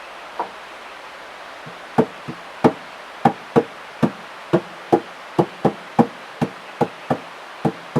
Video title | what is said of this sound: 【山小屋生活105】山小屋で生まれる音楽【音楽会】 | この楽器を叩いて聞こえる音は今のところ「ただ木の箱を叩いている」といった音だ